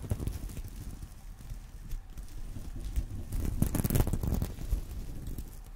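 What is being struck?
Sequin-covered fabric purse.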